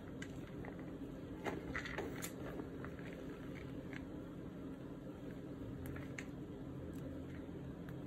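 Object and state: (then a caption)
Crushed gym chalk being crumbled by hand. Bare fingertips and palms press, crumble and rub through a large green plastic basin full of crushed white gym chalk (magnesium carbonate) with small colored bits and one intact white chalk block. Soft, dry, crunchy crushing and scattered bright crackles rise over a steady low hum.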